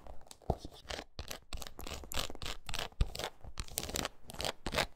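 Long acrylic nails rapidly scratch and tap the patterned red rubber outsole of a shoe. Quick bursts of dry, tearing-like rasping with bright high hiss are punctuated by sharp, short taps, the strongest landing near the half-second and three-second marks. Each sound stops almost instantly, with a dull low thud underneath.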